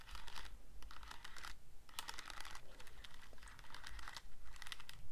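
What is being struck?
Plastic calculator keys.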